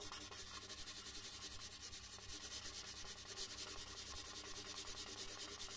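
A red colored pencil is rubbed back and forth across a large white paper sheet lying flat on a wooden desk, shading in letters. The quiet, continuous scratchy rubbing carries a bright, hissy texture, with fast strokes blending into one another and a faint low rumble underneath.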